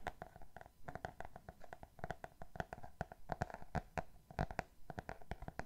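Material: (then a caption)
Cardboard. A Roald Dahl hardcover book with a solid, glossy cardboard cover is tapped and scratched quickly with fingernails on its back cover. Rapid, short, dull taps mix with light scratching, each tap dying away almost at once.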